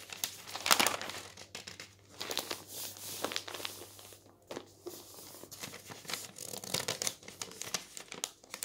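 Fingers grip the edge of a thin newsprint page of a paper newspaper lying on a table and turn it. The result is soft, bright crinkling and rustling with quick papery crackles that rise and fall, and almost no low end.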